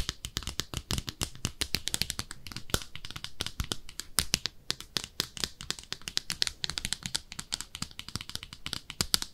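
Long nails scratch and tap inside and outside a small, hollow, empty pink speckled ceramic soap dish shaped like a bathtub. The result is a dense, fast stream of sharp, dry, bright clicks and light scratches that stop instantly without ringing, over a faint low background rumble.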